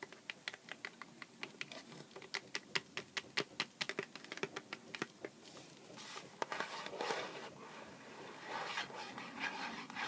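A small, hollow Sour Patch Kids cardboard candy box resting on a cutting mat is tapped and scratched with the fingertips and nails of both hands. For the first half the clip is a run of quick, dry, bright taps in an uneven rhythm. After that come denser bursts of scratchy, hissing friction that swell and fade.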